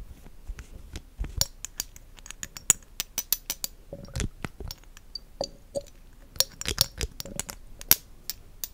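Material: Glass.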